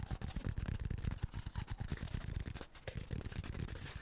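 Fingertips and nails tap and scratch a short, hollow, empty cardboard tube held in both hands. The result is a quick, continuous run of soft, low, dull thuds that stop almost instantly, mixed with light scratchy rustling.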